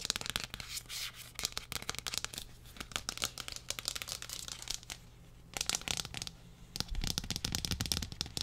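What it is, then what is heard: Textured plastic lid, tapped and scratched. Fingernails tap and scratch the textured face and underside of a large, thin, hollow-backed pink plastic tray lid held overhead. Rapid, dense bursts of bright, crisp clicking and scraping alternate with brief quieter gaps.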